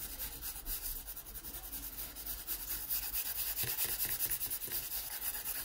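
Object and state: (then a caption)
Pencil drawing on a paper sketchbook page. A yellow wooden graphite pencil rubs and scratches across the page of an open paper sketchbook lying flat. The result is a steady, dry, bright scratching hiss with fine strokes layered over a faint low rumble, growing slightly louder halfway through.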